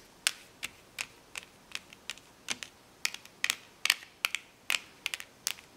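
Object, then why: Plastic blister pack of magnetic letters. Long painted nails tap and scratch across the clear plastic bubbles of a flat, notebook-sized, card-backed blister pack holding hollow colored plastic magnetic letters. About 19 sharp, dry plastic clicks come at an uneven pace, bright and hollow-sounding with a peak around 2.3 kHz and almost no low end. Each click dies away instantly.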